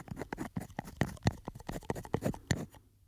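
Fingernails tap and scratch a small glass perfume bottle with a textured, studded surface and a silver cap, held in both hands near the microphone. About fifteen quick, dry clicks and scrapes come in an uneven rhythm, each dying almost at once with little ring. A short quiet pause follows at the end.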